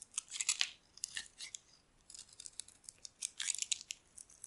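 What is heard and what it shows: A metal blade scrapes and carves flaky curls off a solid white bar of dry soap held in the hand. The sound is a quiet series of crisp, bright scratchy crunches in short irregular bursts with brief pauses between strokes, with almost no low end.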